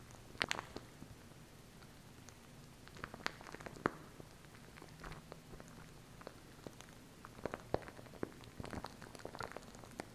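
Long nails tap and scratch the plastic tube and label of a small plastic glue stick with a red cap, held upright. Quiet, irregular, sharp clicks and scratchy ticks scatter over a soft, steady low hum, each tap dying out almost instantly. The brightest taps cluster near the start and toward the end.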